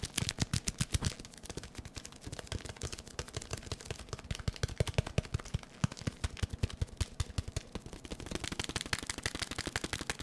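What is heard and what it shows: A small, hollow white and yellow cardboard product box is held in the hands and tapped rapidly with the fingertips. The result is a fast, continuous stream of short, dry, hollow thumps with a low body and crisp, bright clicks, shifting in pace and loudness throughout.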